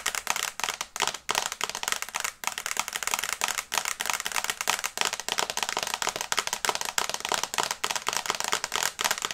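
Long nails tap fast on the glass screen of a small, flat smartphone in a teal and brown case, held close to the face. The result is a rapid, continuous stream of crisp, bright clicks with almost no low end and very short decay, arriving in quick bursts with brief pauses between them.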